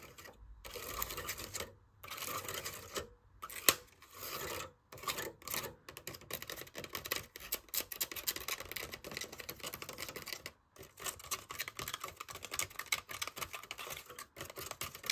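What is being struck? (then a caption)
Small plastic cup. Fingernails tap and scratch the printed side of a small yellow plastic cup holding artificial flowers. The sound is a dense run of quick, dry, bright clicks and raspy scrapes with almost no ring, broken by brief silent pauses.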